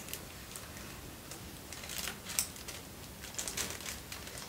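A folded sheet of thin white tissue paper, held in both hands close to the camera, is crinkled and rubbed with fingertips and short nails. The result is soft, bright, crackly rustles in short irregular bursts over a quiet, low background hiss, with the loudest crinkles near the middle and toward the end.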